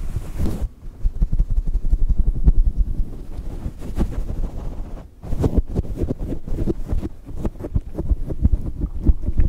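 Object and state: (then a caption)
Synthetic fur microphone windscreen. Fingertips of both hands pluck, scratch and rub a fluffy grey-white faux fur windscreen on a small microphone. The result is a dense, close, low rumbling of muffled thumps and crackly brushing bursts, with a brief lull around the middle before the rubbing picks up again.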